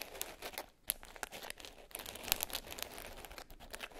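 Long nails tap and scratch the top of a small black glitter-covered hard case lying closed and flat. The result is a quiet, bright, gritty crackle of scratching, broken by sharp clicking taps that die away almost instantly.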